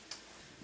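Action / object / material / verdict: tap / tripod quick-release plate holder / plastic / none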